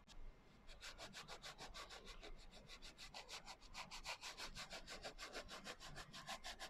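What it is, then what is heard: Glitter-covered hardcover journal. Fingers and nails rub and scratch the coarse glitter cover of a small, closed hardcover notebook. After a brief quiet start, about 29 quick, bright, gritty strokes follow in a steady back-and-forth rhythm of roughly three per second. Each stroke is a dry, hissy scrape that stops almost at once.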